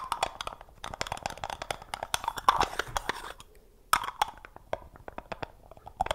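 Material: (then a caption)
Plastic. Fingertips grip, twist and tap the screw lid of a small, round, hollow black plastic jar held close to the microphone. Rapid, dense crisp clicks and scratchy, crunchy grinding come through with a hollow ring around 1 kHz. Sharper taps stand out from the steady rasp of the twisting lid.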